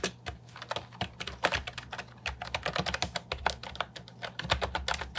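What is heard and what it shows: An Ajazz 308I compact keyboard with plastic, round typewriter-style keycaps is typed on continuously with the fingertips. It gives a rapid, uneven stream of short, bright clacks that die away almost instantly, over a faint steady low hum.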